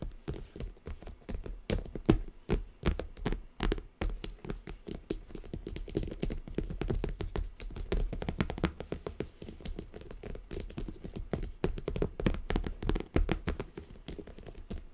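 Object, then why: Cardboard gift box wrapped in plastic tape. A hollow triangular gift box covered in glossy orange plastic tape with pleated tape decoration is tapped and scratched continuously with long acrylic nails. It makes a dense run of quick, dull, hollow taps with short plasticky clicks, heavy in low thuds and with little brightness. The taps die away almost instantly.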